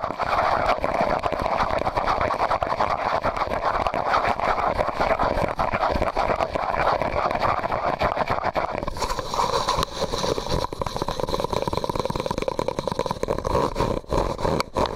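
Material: Plastic.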